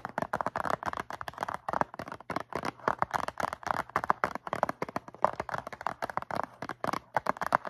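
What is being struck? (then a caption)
Cardboard box of cotton swabs. Long nails tap and scratch rapidly on a medium-sized blue cardboard Q-tips box filled with cotton swabs. The dense, uneven run of short, dry, papery clicks and scrapes sits mainly in the midrange. Each sound stops almost instantly, with a faint bright crackle on top.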